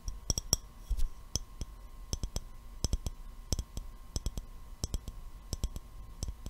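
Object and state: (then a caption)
Glass mason jar with metal lid. An empty, clear glass mason jar with a gold metal screw lid is held in both hands and tapped with the fingertips and nails. A scattered series of short, bright clicks with crisp high glassy ticks dies away almost instantly, over a faint steady hum and low rumble.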